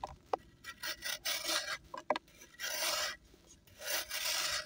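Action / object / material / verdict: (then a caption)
scrape / compressed sand block / pressed sand / none. A solid compressed sand block, held in one hand, is shaved with a small knife over a blue basin holding a dry sand pile, so sand crumbles and pours off. Repeated bright, grainy rasping scrapes come in bursts, with a few sharp crunchy ticks and a hissy trickle of falling grains between them.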